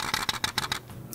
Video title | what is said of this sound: 超優等生レンズ！SIGMA 30mmf2.8DN 作例あり | こうカタカタ言うんですこれ電源入ってると言わないんですけれども 電源が切れてる状態だと中で何かがカラカラ行ってるような音がします